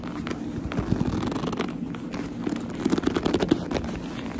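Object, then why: Leather purse. Long nails grip, rub and scratch the smooth leather of a black leather purse held close up. Soft scratchy crackling and dense low-mid squeaks run throughout, with a cluster of sharper squeaky grips near the end before the rubbing settles back down.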